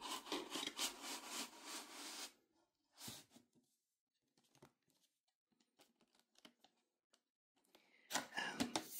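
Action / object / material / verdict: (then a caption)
scrape / wooden game box with a sliding lid / wood / none. Hands slide and rub the sliding lid along the frame of a medium wooden-framed Scrabble Nostalgia Edition box to open it, exposing the hollow inside. There are dry, bright wood-on-wood scraping strokes from fingertips and palms for about two seconds, then a short scrape and a scatter of faint light ticks and taps. A final burst of loud rubbing closes the clip.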